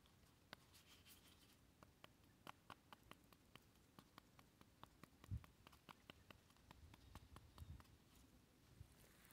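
A small, freshly picked orange-red bell-shaped pepper with a green stem, hollow and glossy-skinned, is held in the fingertips outdoors in a garden while it is turned and tapped or poked with the fingertips and short nails. The result is a quiet, irregular series of short, dull taps and faint clicks, with a few louder low thumps, over a soft outdoor background hiss.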